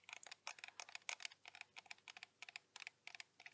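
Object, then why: Metal and leatherette film camera body. Fingertips with painted nails tap and scratch the textured black leatherette front of a vintage Canon AT-1 35mm film SLR near the strap lug, the hollow body topped in silver metal and the lens capped. About twenty quick, dry, bright clicks with almost no ring come in an uneven, typing-like patter over quiet hiss.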